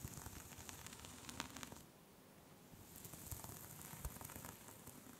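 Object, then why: Cable-knit yarn scarf. Long pink nails scratch and tap into the texture of a soft pink cable-knit knitted scarf lying flat. The result is a quiet, dry, crackling scratch with a bright hiss and small sharp taps. It eases into a softer lull midway, then picks back up.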